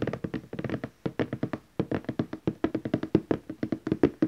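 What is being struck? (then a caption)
Glossy cardboard gift box. Fingertips tap the lid of a large glossy orange cardboard gift box, moving between the lower edge and the centre. Around thirty quick, soft, hollow taps come in uneven bursts with short pauses, each with a dull low-mid thump that dies away almost at once.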